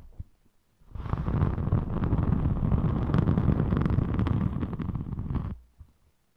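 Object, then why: Thin glitter-coated foam craft sheet. A thin rainbow glitter foam craft sheet is scratched with the long metallic nails of both hands and then flexed. A dense, steady, low-heavy scratching rustle starts just before the one-second mark and runs for about four and a half seconds before cutting off into near silence.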